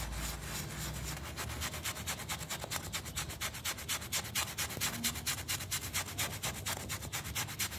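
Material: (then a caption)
Textile pile. A small round miniature pile carpet, covered in foam and lying on a tile floor, is scrubbed with a yellow toothbrush held in the fingers. About 29 quick, steady back-and-forth strokes make a bright, wet, scratchy bristle rub with a soft low rumble underneath.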